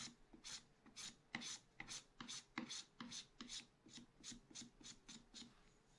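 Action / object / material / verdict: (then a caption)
scrape / black-coated scratch art card scratched with a wooden stylus / coated paper / none. A wooden stylus scratches lines near the top edge of a black-coated scratch art paper card page held flat by one hand. About 17 short, bright, rasping strokes come in an uneven rhythm, each stopping dry with no ring, over a faint low scraping undertone.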